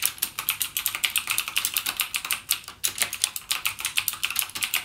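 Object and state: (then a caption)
Plastic mechanical keyboard. Fingertips type rapidly on the clicky blue-switch keys of a backlit plastic mechanical keyboard, a Cherry MX Blue gaming keyboard. Dense, sharp, bright clicks patter in a steady, uneven stream with almost no low end, each click dying away almost instantly, with one brief pause just before the three-second mark.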